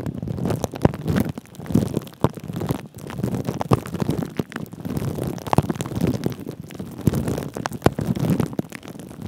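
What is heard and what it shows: Thin clear plastic cling film wrapped over a microphone's metal mesh head is scratched and rubbed by the fingertips and short nails of both hands. The result is a close, muffled, low-heavy crinkling and rustling, broken by frequent sharp clicks and scrapes that come in bursts, with little brightness up top.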